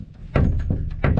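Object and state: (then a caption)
Loose cable gland inserts rattling on a bolt. Spare 5 mm inserts from the cable glands on a boat's side solar panel mounts hang loose on a small bolt and are tapped against it, showing the rattle they make in the wind. A few dull, low thunks knock in quick succession, each dying away quickly. The loose inserts have left a tap mark on the bolt and are to be fixed with a blob of sealant.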